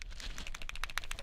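A plastic dropper bottle of Corvus Black paint is shaken with a stainless steel mixing ball inside, added as an agitator because stainless steel won't rust in the paint. A quick series of sharp, bright rattling clicks is heard, where the bottle had made no noise before the ball went in. The audible rattle confirms the ball is inside to mix the paint.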